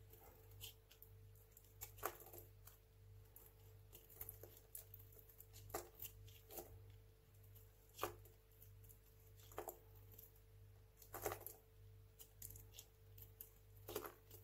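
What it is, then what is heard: Dry soap bar being carved. A craft knife blade carves chunks and shavings off the face of a small, solid, dry orange-tan hotel soap bar held in the hand. Quiet, crisp cuts and scrapes come in irregular bursts, some sharper snaps standing out, over a steady low hum.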